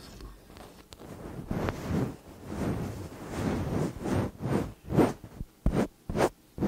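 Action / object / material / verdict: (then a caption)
scrape / metal condenser microphone body / metal / none. Long acrylic nails lightly scratch and tap the tops and sides of two slim cylindrical metal condenser microphone bodies. Soft, low, rustling scrapes swell and fade in the first half, then give way to sharper, separated taps with short ringing toward the end.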